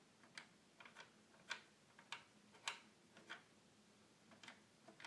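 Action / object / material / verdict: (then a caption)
tap / plastic toy keyboard / plastic / none. A fingertip clicks the small plastic buttons on the top panel of a hollow red plastic toy keyboard, producing nine quiet, bright, dry clicks at an uneven pace with very short decay.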